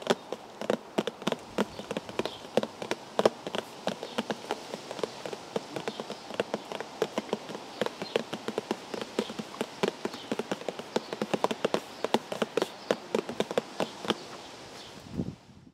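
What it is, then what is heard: Cardboard tea bag box. Fingers tap rapidly and irregularly on a cardboard tea bag box, producing a steady stream of short, dry, papery clicks with a mid-range hollow tone. The tapping continues for about fifteen seconds over a faint background hiss, then stops.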